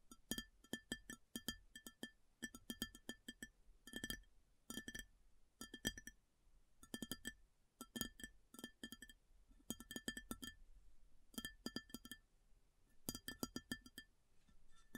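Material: Ceramic.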